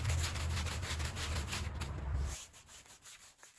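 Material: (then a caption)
Woven fabric. A long-handled green push broom with stiff bristles scrubs a small woven rug soaked with muddy, soapy water. Rhythmic wet, rasping strokes with a low rumble continue for about two and a half seconds, then drop to quieter scattered scrapes.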